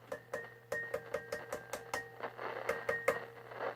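A series of light taps on a 1950s GE P672A AC/battery portable tube radio rings out through its speaker as short metallic pings, with tones near 530 Hz and about 1.8 kHz over a steady low hum. The ringing shows that its glass 1-volt DC battery vacuum tubes are quite microphonic, which is common for that tube type.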